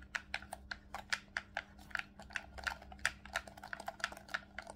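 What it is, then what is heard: Plastic game controller buttons. Fingertips tap and click the top shoulder buttons and triggers of a hollow, black plastic Nintendo Switch Pro controller held in both hands. A quick, irregular run of short, dry plastic clicks with a bright edge dies away almost instantly, over a faint steady low hum.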